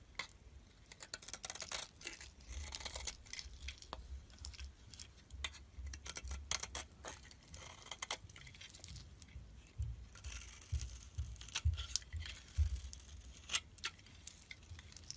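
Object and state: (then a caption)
Bar soap being shaved. A solid cream bar soap held in the palm is shaved into curls with a metal box-cutter blade. Quick, uneven crisp scraping strokes repeat throughout, each a short bright rasp with a high hiss, over a soft low rumble.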